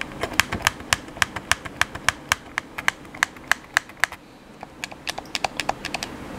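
Thumbs and fingertips press and tap the buttons and sticks of a black, hollow plastic gamepad held in the hands, producing about 30 sharp, bright clicks in a quick steady rhythm. The clicks stop briefly around the four-second mark, then resume a little softer, each one dying out almost instantly.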